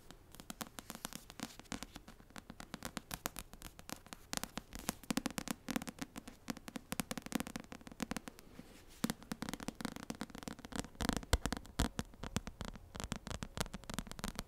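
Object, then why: Paperback book with cardstock cover. Long nails tap quickly across the front cover of an *Assassin's Blade* paperback, a solid paper book with a cardstock cover. It makes a dense, steady run of short, dry clicks with a soft papery thump underneath. A brief lull comes near the middle before the tapping picks up again slightly louder.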